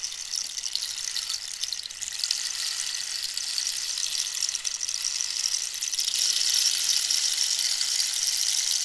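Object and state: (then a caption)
Cactus wood rainstick. A hollow dried cactus wood rainstick, held upright and diagonally, is scratched and tapped along its textured surface with long nails. The result is a steady, bright, hissing rustle of dense fine clicks, almost entirely high in pitch with no low end. It grows slightly louder toward the end.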